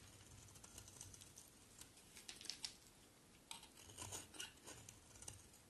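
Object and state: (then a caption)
Bar soap being shaved with a blade. A solid white oval bar of soap is shaved with a box cutter blade as curls pile up. Soft, crisp scraping and cutting sounds come as a run of short, bright, dry clicks and rasps over a faint low hum, with the strokes clustering more densely toward the end.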